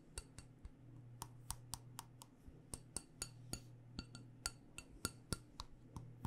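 A black glass jar candle filled with wax is tapped on its side and base with long nails. About twenty sharp, bright clicking taps with a brief glassy ring come at an uneven pace, over a steady low hum.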